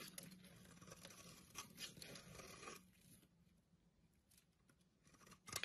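A blade scrapes and carves curly shavings off the cut face of a solid orange bar soap held in the hand. A bright, crisp scraping rasp runs steadily for about three seconds, then fades to faint, sparse scratches before a short, sharp scrape at the end.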